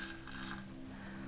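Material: Nothing is struck.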